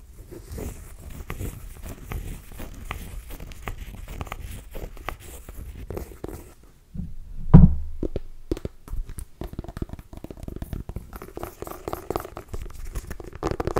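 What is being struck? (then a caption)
Small pumpkin rind. A small, solid orange pumpkin with a hard rind is held in both hands above the mic and scratched and tapped with long nails. A steady run of dry, low scratching fills the first half, then pauses briefly before a louder hollow thump. Quick, crisp taps and crinkly scratches follow to the end.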